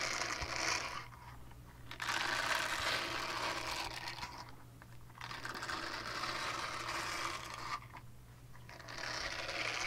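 Long dark-painted nails scratch the textured bristle face of a small, flat, solid purple silicone scrubber pad with a hanging loop, held in both hands in front of a fluffy mic. Bright, dense scratchy rasping comes in long bursts separated by quieter pauses, over a steady low hum.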